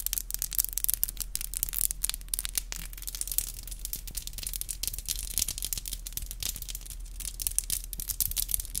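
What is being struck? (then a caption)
Acrylic fingernails. Long black glossy acrylic nails are rubbed and tapped together, nail on nail. Bright, scratchy rubbing is dotted with rapid, sharp clicks that die away instantly, over a steady low hum.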